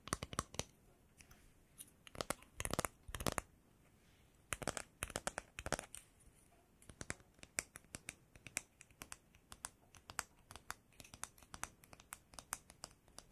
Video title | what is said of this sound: ASMR Eyes Closed Follow My Instructions For Sleep (Light Triggers, Close Whispering, Mic Brushing) | In my hands, I have a bamboo comb, and when I tap on it, it sounds like this.